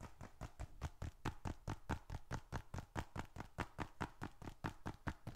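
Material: Leather.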